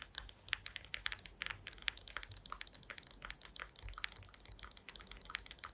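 Long green acrylic nails tap and scratch across a woven wooden slat mat. The result is a rapid, uneven stream of quiet, bright, dry clicks and scrapes that stop almost instantly, with little low end.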